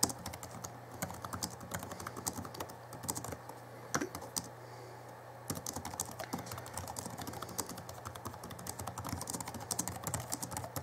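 Fingertips type on the backlit plastic keys of a small 2011 Alienware M11x R2 laptop, first with one hand and then with both. Quick, light clicks and soft clacks patter unevenly over a steady low hum, easing to a near-quiet stretch around the middle before the typing picks up again.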